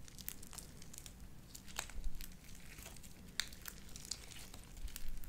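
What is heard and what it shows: Light-blue beaded sticky slime is squeezed and pulled off spread fingers with long dark nails. It gives sticky, wet popping and crackling with bright, sharp snaps over a low, steady rumble.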